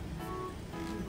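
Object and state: Nothing is struck.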